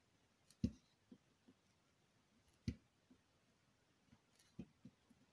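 A hand with long nails holds a solid teal bar of soap while a needle tool scratches and scores it in repeated strokes. The sound is quiet, with short, dull, low scraping clicks and crisp high edges. Three stronger strokes about two seconds apart stand out, with fainter scratches in between.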